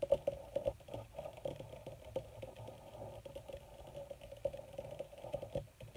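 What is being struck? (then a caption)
Wrinkled leather sheet. Long red nails tap quickly and scratch across a wrinkled black leather sheet, possibly faux leather. The result is a steady stream of soft, dry, short clicks with a mid tone around 560 Hz and light scraping between them, quiet and close with almost no ring.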